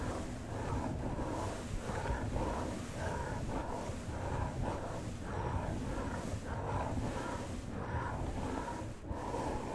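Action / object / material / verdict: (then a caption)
scrape / small cardboard box with plastic window / cardboard / none. Fingertips and nails rub and scratch along the surface of a small hollow cardboard collectible toy box with a plastic window, held close to a fuzzy microphone. The result is a continuous, low-heavy rasping rub in repeated strokes, with no distinct hits.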